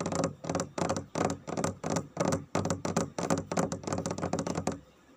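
Fingertips with nails tap rapidly on a large, flat, solid glossy dark varnished wooden floor. The taps come in quick, uneven bursts of dry, short knocks with a low woody body and bright nail clicks. They stop just before the end, leaving faint quiet.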